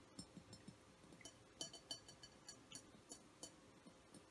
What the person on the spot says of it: soft glass tapping on my essential oil diffuser